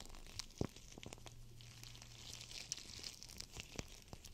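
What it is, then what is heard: Gel bead cold/hot pack being crinkled. A hand-sized clear PVC GLOWY Cold&Hot Pack, soft and filled with teal gel beads, is squeezed, bent and crinkled by fingertips with long nails. The result is quiet, close crinkling and crunchy plastic rustle with sharp bright ticks and taps. A faint low hum sits underneath through the middle of the clip.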